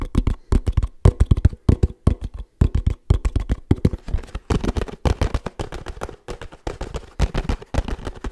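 Fingertips tap quickly on the cap, sides and bottom of a 1 L laminated paperboard oat milk carton. The result is a dense run of dull, low, hollow thuds in uneven bursts, each dying away almost instantly with no ring.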